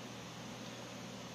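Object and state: Nothing is struck.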